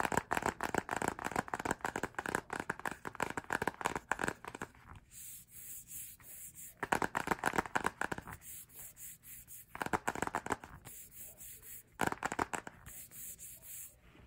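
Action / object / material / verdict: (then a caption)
scrape / cardboard hardcover photobook / cardboard / none. Fingertips and short nails scratch and rub the glossy printed cover of a solid cardboard hardcover K-pop album photobook, covered in photo collages and held in hand. Bursts of rapid, dry, crackly scratching alternate with quieter stretches of soft rubbing.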